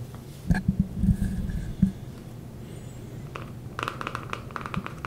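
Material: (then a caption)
Plastic. A small, dark Every Man Jack beard balm jar with a ridged screw lid, likely plastic, is held in one hand close to the mic while fingertips and short nails tap and scratch its sides and lid. Early on, soft, dull, low taps thump around 190 Hz. These give way to quicker, brighter, dry scratching ticks with very little ring.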